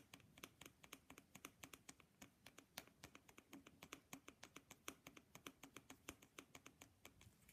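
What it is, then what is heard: Wooden matryoshka doll. Fingernails tap rapidly on an authentic wooden matryoshka nesting doll, producing about 48 quick, dry, bright clicks in a steady, dense patter. Each tap is soft and dies away almost instantly, with little low end.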